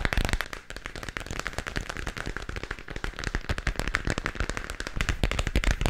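Fingertips and nails tap rapidly and continuously on a glowing spherical moon lamp about 15 cm across, a hollow plastic shell held in both hands. The result is a dense stream of short, dry, crackly clicks with a low hollow thump under them.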